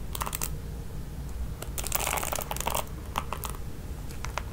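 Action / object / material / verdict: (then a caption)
scrape / plastic paddle hairbrush with nylon bristles / plastic, nylon / none. Long nails scratch and flick the ball-tipped nylon bristles of a red plastic paddle hairbrush. Bright, dry crackles and ticks come in quick bursts, with a denser rustling flurry in the middle, over a steady low hum.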